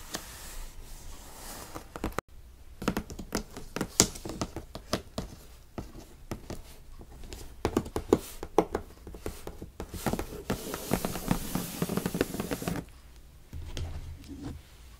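Long pink nails and fingertips tap and scratch the top of a large, hollow, brown corrugated cardboard shipping box with printed tape, lying on a bed. Quick, dry taps with almost no ring mix with papery scratches over the box and tape. There is a brief gap near the start and a quieter stretch toward the end.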